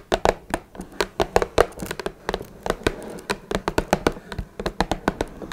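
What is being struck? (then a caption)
Small closed cardboard box. Long red nails tap and scratch the top of a small, hollow, closed blue Twinings cardboard tea box resting on a wooden table. A quick, irregular run of short, dry taps with a hollow midrange knock and almost no ring is broken by brief soft scratching between them.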